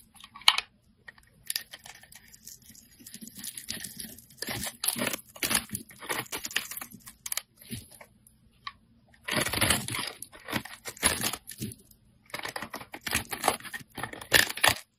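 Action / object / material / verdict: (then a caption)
scrape / solid soap bar scraped by a metal blade / soap / none. A metal blade scrapes thin layers off the surface of a solid green soap bar held in the hand. Dry, crisp, bright scraping and crunching strokes come in uneven clusters separated by short near-silent pauses, with the loudest bursts near the middle and end.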